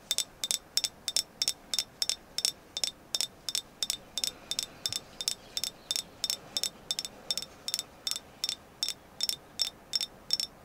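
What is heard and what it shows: A carved agate moon goddess figure is tapped 32 times at a quick, somewhat uneven pace of about three taps per second. Each tap is a short, bright click that dies away almost at once, with nearly all its energy in the high range and almost no low end, over a quiet background.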